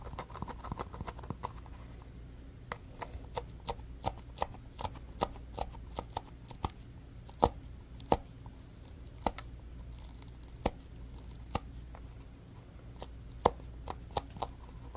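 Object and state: Foam stress ball scratched with fingernails.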